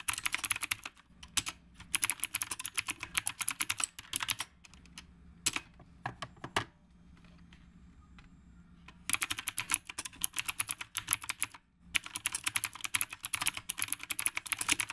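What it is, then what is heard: Mechanical keyboard with round plastic keycaps being typed on. Fingertips of both hands type continuously on a black retro typewriter-style mechanical keyboard with round plastic keycaps. Rapid, bright, clicky keystrokes come in dense bursts, broken by a lull of only faint, scattered taps near the middle and a brief pause before the final burst.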